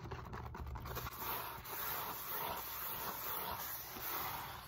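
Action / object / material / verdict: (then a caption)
scrape / molded polyethylene foam roller / polyethylene foam / none. Long nails and fingertips scratch and tap the beaded side of a solid, textured foam roller made of molded polyethylene foam, held upright. The result is a steady, dense scratching and scraping texture with bright, hissy edges, soft dull taps underneath, and gently swelling waves of scratching throughout.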